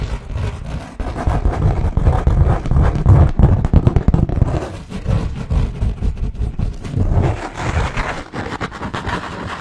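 A sheet of thick white textured paper, held in front of the microphone, is scratched with fingertips and nails. The result is fast, irregular, rough scratching strokes with a heavy low rumble and little high-end brightness, swelling and fading in dense bursts throughout.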